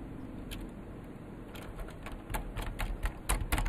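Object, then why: Plastic mechanical keyboard. Both hands type with their fingertips on a vintage beige plastic full-size KPT-102 mechanical keyboard with Alps switches, its hollow case resting on a desk mat. Sharp, clicky key taps arrive at an uneven pace over a steady low hum, growing louder and more frequent toward the end.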